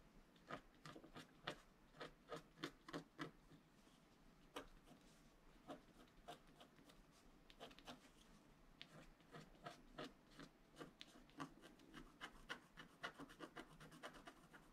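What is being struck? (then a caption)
Black-coated scratch art paper board scratched with a wooden stylus. A wooden stylus scratches strokes into the lower area of a flat scratch art card, a black-coated paper board, while the other hand steadies the sheet. Dozens of short, crisp scratching strokes follow one another in quick, irregular bursts, each with a bright, papery rasp and almost no ring, over a quiet background.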